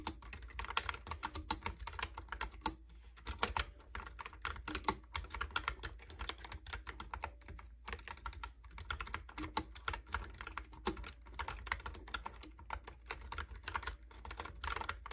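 Fingertips type steadily on a Logitech keyboard with round plastic keycaps, producing a fast, continuous stream of short, dry plastic clicks and taps. The clicks are bright and clipped, with occasional louder key strikes, over a steady low hum underneath.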